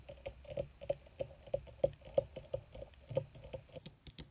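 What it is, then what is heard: Leather surface tapped with fingernails. Long red fingernails of both hands tap quickly on a flat, black, crinkled leather (or faux leather) surface. About twenty short, dry clicks land at an uneven pace, each with a mid-pitched knock near 550 Hz and a faint low thud, dying away almost instantly.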